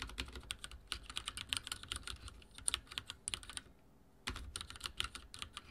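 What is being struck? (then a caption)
Mechanical keyboard with plastic keycaps. Fingertips type on a backlit mechanical keyboard with dark plastic keycaps, producing rapid, bright, clicky key taps that stop dead with no ring. The typing runs steadily, breaks into a brief quiet pause of about half a second near the four-second mark, then resumes in a fresh burst.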